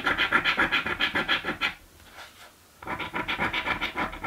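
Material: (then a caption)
Paper. A coin edge scrapes the coating off a thin green paper scratch lottery ticket while the other hand holds the card. Rapid, rhythmic rasping strokes with a bright, papery tone run for about 1.7 seconds, fall to near silence for about a second, then resume at the same quick pace until the end.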